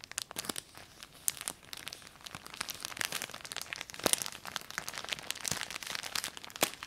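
A transparent plastic bag holding a folded red textile item is held close up and crinkled and squeezed with long painted nails and fingertips. It makes a dense, bright crackle of sharp crinkles and snaps with almost no low end. The sound stays fairly quiet overall, with louder pops scattered throughout.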